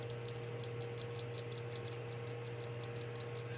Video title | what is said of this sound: Ford 1.6-2.0 CVH Thermostat Replacement Escort/EXP/LN7/Lynx/Focus | when you shake it, you should hear it. So if you hear that, it kind of sounds like a jingle bell